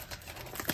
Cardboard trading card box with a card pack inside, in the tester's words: you kind of hear that it's just getting thrown around in there not the best